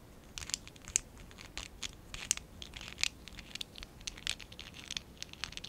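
A small stack of hollow pink and dark blue ABS plastic Lego Classic 11017 bricks is held in both hands while fingertips and short nails scratch and rub them. The result is a quiet, bright run of dry scratches and crisp ticks with almost no low end, each sound ending instantly.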